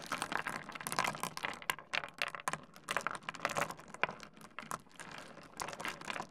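A pile of small solid stone pebbles heaped on a wooden desk is dug into, stirred and rubbed by fingertips. It makes a dense, continuous run of quick, dry clicks and rattles with sharp, bright edges and almost no low end. The clicking comes in uneven bursts that swell and fade.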